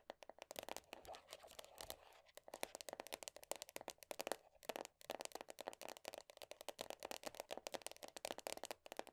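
Long nails tap and scratch quickly on the black, printed-top lid of a medium round plastic body butter tub. The result is a quiet, dense stream of sharp, bright clicks with scratchy scraping in between, each tap dying away almost instantly, with a brief pause around two seconds and another near five seconds.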